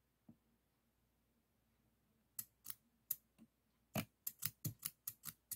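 Stainless steel thinning shears, solid steel, are held upright in the fingers and repeatedly snipped open and closed, the metal clicking at the pivot. After a faint early tick and a quiet pause, sharp, bright, very short metallic snips come slowly at first and then in a quicker, uneven run.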